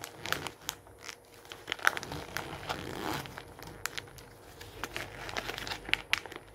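Fingers scrunch and crinkle a page near the edge of an open glossy paper magazine lying on a wooden table, then smooth it flat. Dense, bright crinkling and papery crackles fill the clip, with quick sharp snaps and almost no low end.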